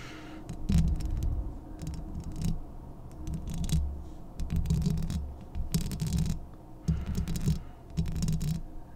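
Long painted nails from both hands scratch and tap directly on the hollow metal mesh grille of a medium-sized Blue Yeti USB microphone with a metal body. The scratching comes in repeated bursts that sound as a deep, boomy rumble with a low hum around 164 Hz, scattered with brief, sharp, bright ticks from the nails.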